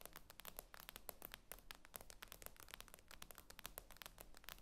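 Long acrylic nails tap quickly and steadily on the glossy glass screen of a tablet lying flat on a table. Each tap is a short, dry, bright click that dies away at once, over a quiet, steady low hum.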